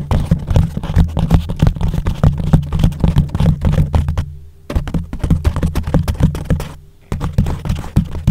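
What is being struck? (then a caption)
Foam cover over a microphone. Fingertips tap quickly on and rub the sides of a thick, soft yellow foam sheet wrapped over a microphone, hollow around the mic. Dense, muffled low thumps and scratchy rubbing run in an irregular stream, with two brief quieter gaps. The sound stays deep and dull with almost no bright content.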